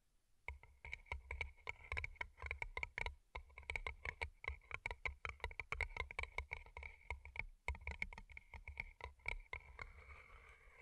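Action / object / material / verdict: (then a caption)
tap / paper cup covered in plastic rhinestones / plastic, paper / none. Long nails tap quickly on two small, hollow, empty paper cups turned upside down and covered in colorful plastic rhinestones, striking both the rhinestone sides and the cardboard tops. The result is a dense run of crisp, clicky taps with a bright tone near 2.2 kHz and a soft, low thump under each hit. The taps die away almost instantly.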